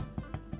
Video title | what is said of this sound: Хлеб Теперь могу ПЕЧЬ Каждый день и не устаю! Нашла самый простой рецепт с потрясающим результатом | できあがったパンはタップすると鈍い音がします